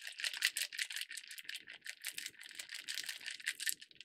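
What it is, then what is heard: Cocktail shaker with ice. A closed, medium-sized hollow stainless steel cocktail shaker with ice is held in both hands at shoulder height and shaken vigorously. The ice rattles against the metal walls in a dense, uneven stream of quick, bright clatters with almost no low end. Each impact dies away almost instantly.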